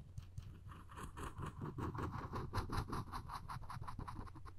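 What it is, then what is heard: Wooden spoon handle scraped with a thin string. The string of a floss pick is scratched and scraped along the handle of a solid wooden spoon in quick, repeated strokes. The sound is a soft, dry rasping patter that runs steadily at a few strokes per second over a low, constant hum.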